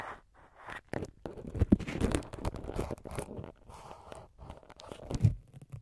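A syringe needle repeatedly pokes the small white foam windscreen covers on the capsules of a multi-capsule microphone while fingers hold the covers. The sound is a close, dense run of soft scratchy crunches and scrapes, mostly low in tone. A few louder pokes stand out among them.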